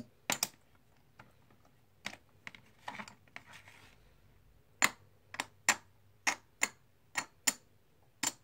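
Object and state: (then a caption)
Composite poker chips clicking. Fingers handle and click stacks of small, solid plastic/clay composite poker chips in a white tray, producing sharp, bright clacks at irregular intervals. Between the clacks come softer rustling taps as the chips shift, and each click dies away almost instantly with little low end.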